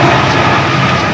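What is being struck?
Nothing is struck.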